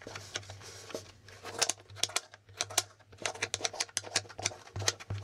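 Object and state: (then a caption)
Plastic board game tiles. Fingertips tap and flip the plastic letter and figure tiles on a plastic Hangman board game held up in the air. The result is a rapid, irregular series of short, sharp, bright plastic clicks and taps that die away almost instantly, over a faint steady low hum.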